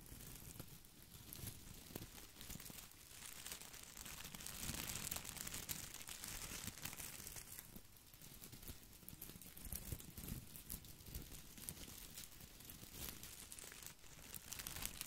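Fingertips rub and scratch the small plastic leaves of a head-sized plastic artificial boxwood ball held close to the mic. The result is a steady, dense crinkling and rustling full of bright scratchy crackles over soft low bumps, swelling slightly in places without clear pauses.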